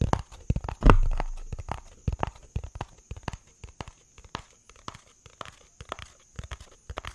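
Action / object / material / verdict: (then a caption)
tap / cardboard box / cardboard / none. A hollow yellow-tan cardboard box is held in the hands and tapped and scratched with fingertips and nails. About twenty quick, dull, low-pitched taps and scrapes follow one another, each dying away almost at once. One louder, boomy thump near the start fades out more slowly.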